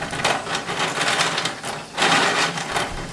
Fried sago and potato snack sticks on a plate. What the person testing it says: काही कुरकुरे तळून घेतले आहे मस्त कुरकुरीत आवाज येतोय